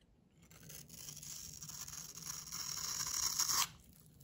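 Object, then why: Bar of soap. A solid light blue rectangular bar of soap held in the hand has its top edge scraped and shaved with a metal utility knife blade. A bright, dry rasping scrape builds steadily for about three seconds and then stops abruptly, leaving near silence.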